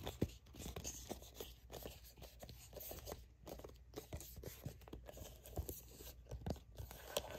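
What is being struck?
Soft plastic squeeze tube.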